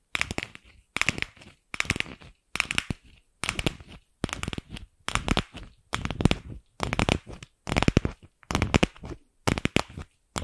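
A single light pink, palm-sized hollow plastic ball, a two-half capsule with a seam, is held in one hand and tapped and scratched with long pink acrylic nails. About a dozen short bursts of rapid, dry clicking and scratching crackle across the range, each separated by a brief silence. The clicks end almost instantly with no ring.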